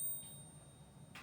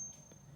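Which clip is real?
The first.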